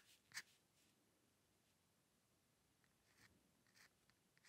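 A steel-nib dip pen with ink scratches fine hair strokes on a flat sheet of white drawing paper resting on a dark table. A sharp, bright scratch comes near the start, followed by near silence and then a few lighter, crisp scratches toward the end. The sounds are quiet, high and dry, with almost no low end and no ring.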